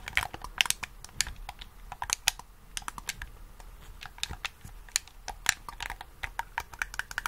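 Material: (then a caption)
Plastic. A black, hollow, handheld plastic game controller is held in both hands while thumbs and fingertips press and tap its buttons and triggers. The result is a quiet, irregular stream of sharp, bright clicks in a typing-like rhythm, each one dry and short with no ring.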